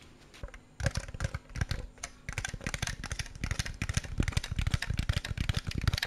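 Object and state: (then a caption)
Plastic snack jar. A hand-sized clear plastic jar with a red printed label, partly filled with snacks, is held in the hand and tapped with fingertips and nails. After a few faint taps, a fast, steady run of dry, clicky taps follows, each with a dull, hollow low thump and almost no ring.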